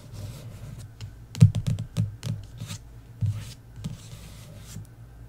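Long nails tap and scratch across the lower half of an embossed paperback book cover. Soft, dull taps land in a loose cluster over a low, steady scratching rustle, with brighter faint scrapes between them.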